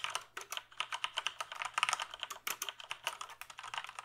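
Fingertips type on the keys of a full-size plastic computer keyboard held up off any surface, making a steady run of about 27 quick, bright clicks. The clicks are dry and short, with no ring after each keystroke.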